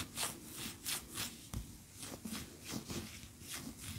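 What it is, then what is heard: Wax pillar candle. Long fingernails scratch a large, cream, solid wax pillar candle standing upright. Quick, bright, hissy scrapes repeat in a steady rhythm, with a soft low thud partway through. Each stroke dies away fast with little ring.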